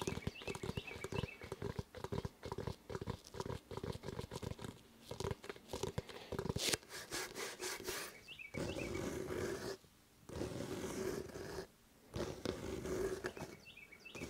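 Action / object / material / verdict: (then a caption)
scrape / rubber basketball / rubber / none. Fingertips and nails rub and scratch the pebbled surface of a full-size, inflated, hollow rubber basketball held close up in both hands. Rapid, dry scratching bursts come first, with a faint hollow tone around 330 Hz. They give way to longer, steadier rubbing strokes with brief silent gaps between them.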